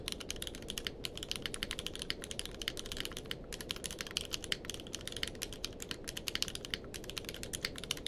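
Both hands type with their fingertips on a grey-blue tenkeyless mechanical keyboard with plastic keycaps, resting on a blanket. A fast, steady stream of short, bright clacks with almost no ring-out sits over a soft, low rumble for about eight seconds.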